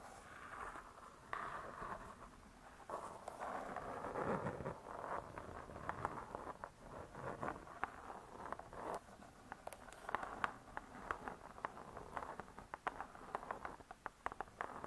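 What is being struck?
Spiral-bound hardcover book with cardboard cover.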